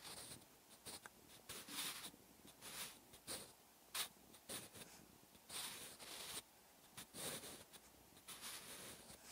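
A wooden graphite pencil with a blue grip writes Korean handwriting on a thin white page of an open paper notebook resting on a solid backing. Its tip scratches across the paper in short, bright, dry bursts separated by quiet pauses.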